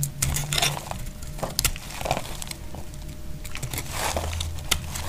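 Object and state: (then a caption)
Dry laundry soap bar being scraped. A tan, dry brown laundry soap bar, now worn smaller, is held in the hand and scraped with a utility knife blade, and flakes fall away. Quick, dry, bright scraping crackles come in uneven bursts over a steady low hum. Each scrape stops short with almost no ring.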